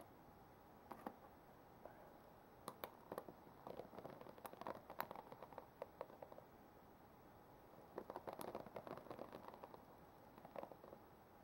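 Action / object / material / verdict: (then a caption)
scrape / plastic paddle hairbrush bristles / plastic / none. Fingertips and long nails rub and scratch across the white-tipped plastic bristles of a black plastic paddle hairbrush. The result is quiet bursts of crisp, clicky scratching and rustling over a steady hiss, clustered around 1 to 5 seconds and again around 8 to 9.5 seconds, with a short flurry near 10.6 seconds.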